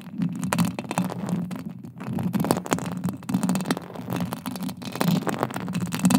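Long acrylic nails scratch and tap across a silver metal mesh microphone grille. Rapid, dense clicks and scraping ticks ride over a steady low, boomy rumble, swelling and fading in uneven bursts without stopping.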